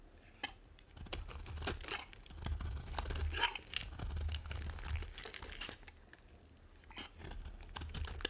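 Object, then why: Bar of soap scraped with a metal blade. A metal blade scrapes across the surface of a solid, dry, dark brown bar of soap and carves off flakes. Irregular dry, crisp scrapes and crunches with bright, crackly edges come over a low background rumble, rising and falling in loudness.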